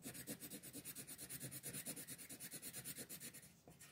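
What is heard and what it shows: A green colored pencil shades a flat paper coloring sheet lying on a table in fast back-and-forth strokes. Each stroke gives a soft, dry, raspy scratch with a bright hiss on top, repeating in a quick, steady rhythm that fades slightly near the end.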